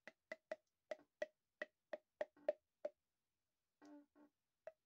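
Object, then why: Corrugated plastic pop tube. An empty, hollow, corrugated pink plastic pop tube is held in both hands and bent, pulled and compressed so its ribs pop. Eleven short, dry, woody pops with a hollow tone around 600 Hz ring out at an uneven pace, with the tenth coming just before a long pause. A brief creak sits just before the ninth pop, and two longer creaking stretches fill the pause before the final pop.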